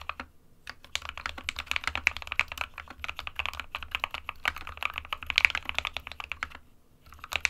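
An SK61 small 60% mechanical keyboard with a plastic case and plastic keycaps, hollow with switches inside, is typed on continuously with the fingertips of both hands. Rapid, bright, short clacks follow one another with almost no ring, pausing briefly near the end before the typing resumes over a faint low hum.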